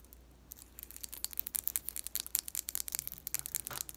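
Long nails tap and scratch rapidly along the length of a long, thin, blue-painted wooden colored pencil held in the hands. The sound is a quiet run of crisp, bright clicks and dry scratches, starting softly and growing busier, with each tap cutting off almost instantly.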